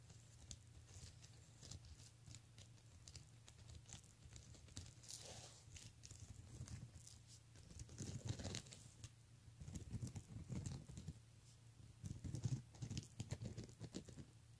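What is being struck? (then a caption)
Plastic beaded handbag. Fingertips and nails rapidly tap and scratch the beads on the front of a pink plastic beaded handbag, making a dense, quiet patter of tiny clicks over a low steady hum. The scratching swells into brighter rustling bursts around the middle and near the end.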